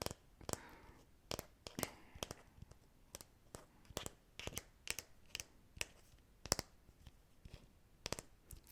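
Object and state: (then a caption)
Fake plastic apple. A plastic decorative apple, borrowed from a set of decorative fruit, is tapped repeatedly. It gives a steady series of quiet, sharp, dry clicks with bright highs and almost no ring, separated by soft rustling. The hollow fake fruit sounds light and clicky rather than solid.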